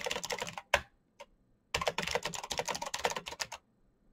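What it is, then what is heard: Mechanical keyboard being typed on. Fingertips type quickly on a full-size black plastic Razer mechanical keyboard with clicky green switches and RGB backlight. Rapid runs of sharp, bright clicks are broken by a short pause with a couple of isolated keystrokes, then a second fast burst of typing. Each click is crisp and dies away almost at once.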